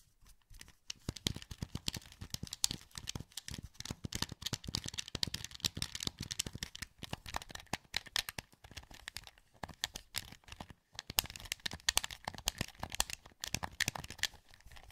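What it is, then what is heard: Plastic game controller being clicked. A translucent green, hollow plastic PS2 wireless controller is held in both hands while fingertips and thumbs click its buttons and sticks. The result is a dense, continuous stream of quick, dry, bright plastic clicks and taps with almost no ring, with a brief lull just before the 11-second mark.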